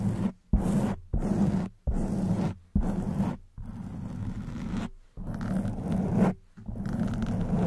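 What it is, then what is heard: Foam microphone windscreen being scratched. Long white acrylic nails on both hands scratch and rub the sides of a black porous foam microphone windscreen. The result is a series of dense, muffled, low-heavy scraping strokes with a rough, roaring texture, separated by brief near-silent pauses.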